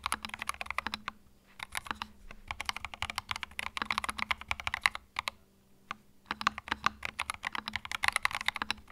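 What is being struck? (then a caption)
Mechanical keyboard with plastic keycaps. Fingertips type on a compact white mechanical keyboard with plastic keycaps, producing rapid, bright, crisp clacks with almost no ring. The typing runs in quick bursts with two brief pauses, then continues.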